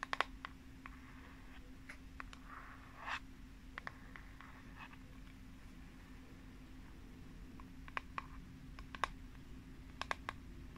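Long nails tap and scratch the flat plastic back of a pink plastic paddle hairbrush with a unicorn print, held upright. Quiet, sharp, bright clicks come in scattered bursts, with a short soft scratching passage near the start, over a steady low hum.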